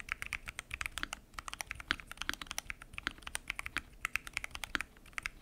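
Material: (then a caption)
Plastic. Fingertips type steadily on a full-size mechanical keyboard with lubed switches, pink and mint PBT keycaps and a transparent acrylic case. The result is a rapid, continuous stream of short, bright clicks and clacks that stop almost instantly, with soft low thuds under some keystrokes.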